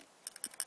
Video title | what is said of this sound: Poor ATV/MX Fuel Flow Tips | that's actually a ball bearing moving around that pretty much means that it's not stuck